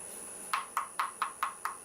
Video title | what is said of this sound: Turning a Cowboy Hat Part 7 | You can hear how thin that is.